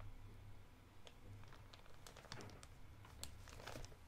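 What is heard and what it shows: A thumb crinkles and scratches the clear label window of a blue soft plastic Electronic Wipes pouch held in one hand. Quiet, irregular crinkling and scratching produce short bright crackles, with a few sharper snaps near the end. A steady low hum runs underneath throughout.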